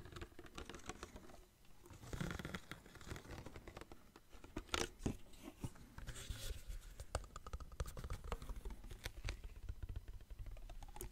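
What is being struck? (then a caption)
Small plastic bottle of water. Fingertips tap and squeeze a small clear plastic water bottle with a blue cap, tilting it as the water inside shifts. Quiet, dense plastic crackles, crinkles and short taps sit over a steady low rumble, with a few brighter clicks standing out.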